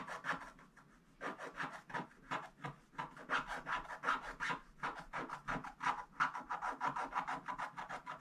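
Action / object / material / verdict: scrape / scratch-art paper scraped with a wooden stick / coated paper / none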